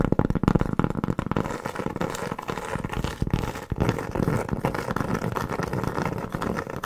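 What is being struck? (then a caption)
Round cork board trivet. Long fingernails tap and scratch across the surface of a large, round, flat, solid cork board trivet held in the hand. The result is a dense, continuous run of dull, papery taps and rough scraping, weighted toward low and middle tones with almost no bright edge, and each tap dies away almost at once.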